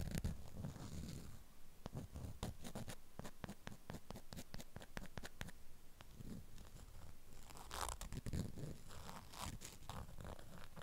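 Long acrylic nails scratch and tap across a flat rectangular item wrapped in a strawberry-print beeswax cloth. The waxed fabric gives a steady run of quick, crisp crinkling clicks and scrapes over a soft low rumble, with brighter, busier bursts of scratching near the end.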